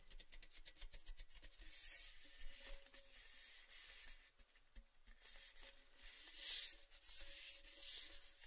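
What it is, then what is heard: Empty metal tin rubbed and scratched. An open, empty orange Baileys metal tin, a hollow cylinder held at an angle, is rubbed and scratched along its painted side by a palm and fingers. Soft, bright scratchy rubbing comes in uneven strokes over a faint hollow metallic ring, with a few louder, brighter swipes near the end.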